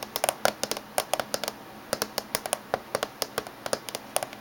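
Fingernails tap on the top surface of a closed silver laptop casing, about 27 quick, separate taps over four and a half seconds in an uneven rhythm. Each tap is a short, bright click with a hollow mid tone that dies away almost instantly.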